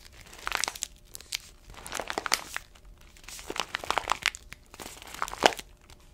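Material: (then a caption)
Paper foil. An orange paper-foil coffee bag with a black bottom band, about 25 cm tall and filled with coffee beans, is held and squeezed with both hands and long nails. Several bursts of bright, sharp crinkling and crackling come in waves, separated by brief quieter pauses.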